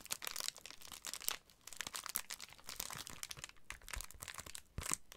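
A large white and blue Amazon Prime padded plastic bubble mailer, hollow with contents inside, is held up and tapped and scratched with fingertips and short nails. It gives a steady stream of bright, crisp crinkling and scratchy taps, with a brief lull around 1.4 seconds and a sharper tap near the end.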